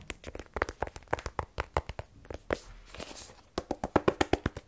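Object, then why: Rigid cardboard phone box. Fingernails tap rapidly on the face and side of a small, black, rigid cardboard iPhone 12 Pro box, hollow with the phone inside. About 26 short, dry, hollow clicks come at an uneven pace, with a soft rustling hiss in a brief pause midway before the tapping resumes more strongly.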